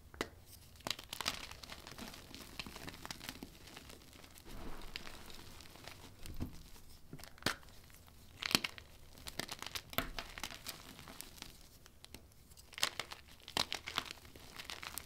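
Soft clumps of loose white gym chalk (magnesium carbonate) powder, from a heap on a dark surface, are grabbed and squeezed in chalk-coated fists, crushing and crumbling them. The sound is a quiet, dry, bright crunching and crinkling with scattered sharp, short snaps over a soft powdery rustle.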